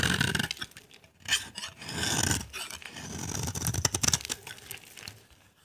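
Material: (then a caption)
Soap. A solid, dry cream-white bar of soap is held in the hand while a utility knife blade shaves its surface into dry curls. Irregular scraping and scratching strokes come in rough, bright bursts over a softer low rumble, fading to near quiet at the end.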